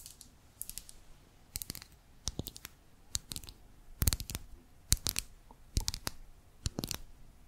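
Long manicured nails tap and scratch a small pink lip gloss bottle of hard plastic, with a clear body and pink cap, held upright. Quiet, sharp clicks come in uneven clusters, with bright scratchy edges and a dull low thump under each tap. Each sound dies away almost instantly, leaving short gaps of near silence between bursts.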